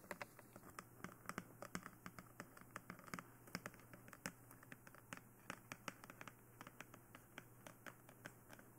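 Long nails on both hands tap across the sides and face of a glossy black hollow plastic dummy head microphone. The result is a quick, uneven stream of short, dry, clicky taps with bright edges and almost no ring, over a steady low hum.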